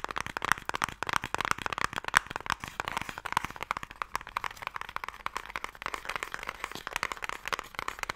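A fingernail scratches and taps on the end and lid of a closed, hollow wooden Mikado box. The result is a rapid, continuous stream of dry, crackly clicks and scrapes with very short decay, centred in the mid-range with little low end.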